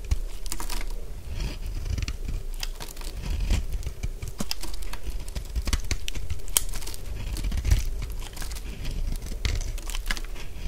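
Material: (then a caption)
Soap. A solid purple bar of dry soap, held in the hand, has its surface scraped into flakes with a utility blade. The result is a steady stream of dry, crisp scraping and crunching with many sharp, bright little clicks over a soft low rumble.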